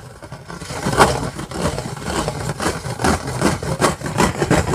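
Long fingernails of both hands scratch a round, flat stainless steel plate with embossed lettering as it lies on an orange bag. Repeated rasping, scraping strokes with a bright, hissy edge ride over a steady low rumble. The strokes swell and fade in an uneven rhythm.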